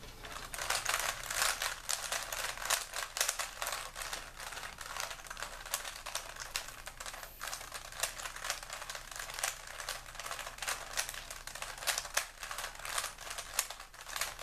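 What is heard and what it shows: A small solid plastic 3x3 Rubik's cube with colored stickers is held in both hands while fingertips rapidly twist its layers. A steady stream of dense, bright clicking and clacking fills the clip with little low end, each click short and dry.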